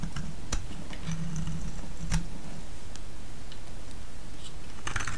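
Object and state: Bar soap being cut.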